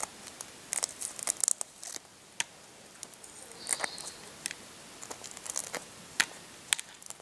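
Short fingernails scratch and pick small pieces off the brittle shell of a hard-boiled brown egg, exposing the white inner membrane at the end. Quiet, bright, dry crackles and sharp little ticks come in scattered bursts with almost no low end. Each snap dies away instantly between faint scratching.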